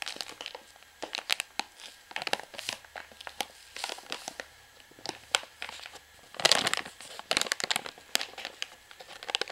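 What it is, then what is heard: Plastic pouch of washing powder. A full white plastic pouch of washing powder is turned in the hand while long nails scratch and tap at the plastic. The pouch crinkles as it is handled, and the crisp, bright taps and rustles come in quick irregular bursts with a louder stretch of crinkling near the end.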